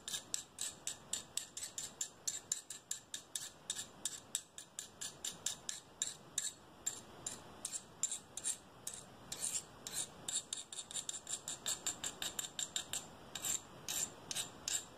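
Small, solid, flat pieces of clear greenish glass, held in both hands, are tapped and rubbed against each other with the fingertips. The result is dozens of quick, bright, dry clicks and scrapes with almost no low end and virtually no ring. The clicks alternate between slower and faster runs over a faint continuous rubbing hiss.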